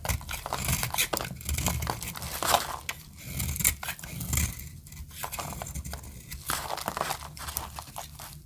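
A metal utility-knife blade carves a solid white oval bar of dry soap held in the hand, breaking it into crumbly flakes. Dry, crunchy scraping and crumbling comes in rapid, uneven bursts with a bright, hissy edge over a soft low rumble.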